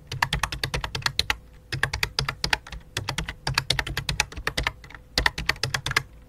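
Both hands type rapidly with their fingertips on a full-size white and light-blue plastic keyboard with a hollow plastic body. It makes bursts of quick, sharp, bright clicks with a low thocky undertone, separated by brief pauses. Each keystroke dies away almost instantly.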